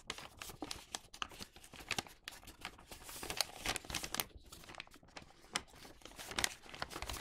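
Fingertips rub along the creases of thin printed newspaper and fold it into a flattened, hollow paper bag body. The result is dense, bright crinkling and crackling with many short, sharp bursts and little low end.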